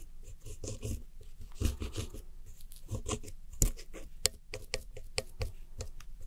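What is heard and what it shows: A red-handled metal hook tool scratches and digs into the blue wedges and the white center pan of pressed powder eyeshadow in a round white plastic palette. Dry, gritty scraping strokes are broken by sharp, bright clicks as the metal catches the powder and the pan.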